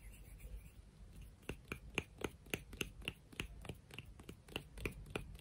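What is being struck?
Beach rock.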